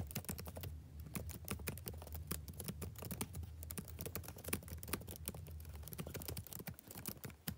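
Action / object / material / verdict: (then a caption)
tap / plastic laptop keyboard / plastic / none. Fingertips type rapidly on the plastic keys of a backlit laptop keyboard, producing a steady stream of short, crisp clicks with quick decay. A steady low hum sits beneath the taps throughout.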